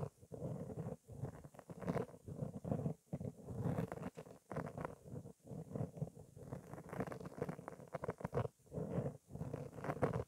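Long nails and fingertips continuously scratch and rub a round, soft black foam windscreen on a microphone. The result is close, muffled, low-heavy scratching and rustling in dense bursts separated by brief near-silent pauses.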